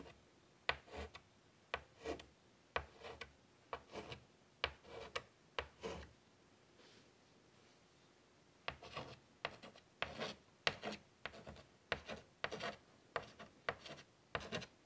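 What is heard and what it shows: A hand draws short strokes with chalk on a large, flat black chalkboard in a light wood frame lying on a table. Sharp chalk taps are each followed by bright, dry scratching bursts, with a quiet pause around the middle before the strokes resume.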